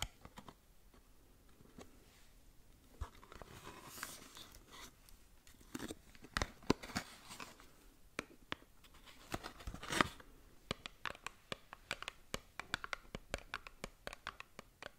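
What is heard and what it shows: Long acrylic nails scratch and tap a small printed cardboard SKIN LABO skincare box, a hollow package held close to the microphone. Quiet, dry, crinkly scratching runs under many sharp, bright clicks that stop instantly with no ring, and the taps grow denser toward the end.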